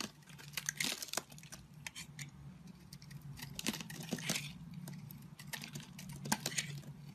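A square blade scrapes flakes off an oval, solid blue-and-white marbled soap bar held in the hand. The result is a quiet run of crisp, bright scraping and crackling strokes over a low steady hum, with sharper louder scrapes near the start, the middle and the end.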